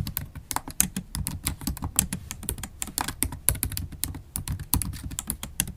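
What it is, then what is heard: Laptop keyboard with plastic keys. Long acrylic nails type fast on a MacBook Pro keyboard, tapping its black plastic keys in an aluminum laptop body. A rapid, steady stream of short, crisp clicks, each with a bright top and a low thud, dies away almost instantly.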